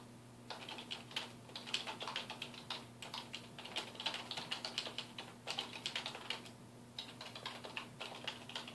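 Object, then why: Plastic computer keyboard. Fingertips type continuously on a full-size black plastic computer keyboard with a hollow housing, resting on a wooden desk. Quick, bright, clicky key taps come in rapid bursts with brief pauses, each tap dying away almost at once. A faint steady low hum runs underneath throughout.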